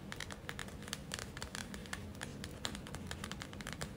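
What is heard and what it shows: Long nails tap and scratch a gel-filled plastic eye mask with glitter and a white rim. Quick, bright clicks and scratchy rasps sit over a soft low hum, with many crisp taps that run together.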